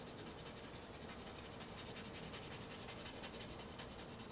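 A white pencil shades and scratches across black drawing paper resting on a flat board, using short repeated strokes. The result is a quiet, steady scratchy rubbing with a bright, papery hiss that pulses rapidly and somewhat unevenly throughout.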